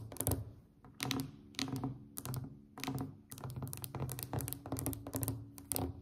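Long acrylic nails of both hands tap a solid, glossy varnished wooden tabletop in rapid bursts and rolling clusters. Each tap pairs a bright click with a dull, low wooden thunk that dies away quickly.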